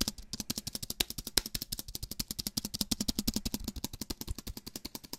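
Fingers tap rapidly on the plastic keys of a slim aluminium and plastic wireless keyboard held upright. About 48 fast, sharp, dry clicks come in a steady, even stream, each bright and gone almost at once, with a faint low thump beneath.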